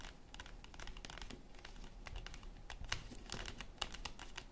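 Long acrylic nails tap rapidly on a flat yellow cardboard chocolate bar box, with the bar still inside, lying on a wooden table. The result is a quick, dry, crisp patter of short clicks that die out almost instantly, with a bright tone around 2.9 kHz over a low, soft thud.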